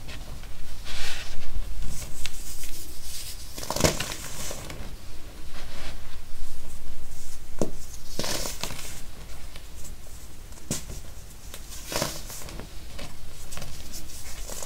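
Bare fingertips press, crush and crumble small solid yellow pressed baking soda molds in a pile of loose yellow baking soda powder on a white table. Dry crunching and crumbling bursts with bright, gritty highs and short sharp snaps come in irregular waves, with powdery crinkling between them.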